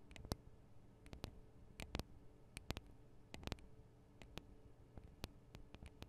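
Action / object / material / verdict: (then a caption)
tap / small metal microphone capsules on a handheld recorder / metal / none. Long acrylic nails on both hands tap the small hollow metal microphone capsules of a Tascam DR-40 recorder. The result is a quiet series of short, sharp clicks with a low thump under each, scattered at an uneven pace over a faint background hum.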